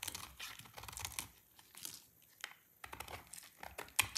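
A solid, dry orange soap bar is scraped with a utility knife blade into a pile of thin shavings. The result is a run of quick, bright, dry scraping and crinkling strokes with very little low end. A short pause falls in the middle, and the strokes pick up again with a sharp click near the end.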